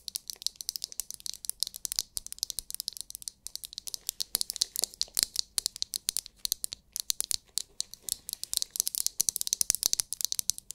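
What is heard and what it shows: Long nails quickly tap and scratch a palm-sized oval massage brush with a hard, clear plastic, glitter-filled dome held close to the mic. The result is a dense, continuous run of sharp, dry clicks and scratchy rattling, almost entirely bright and high with almost no low end. Each tap dies away instantly.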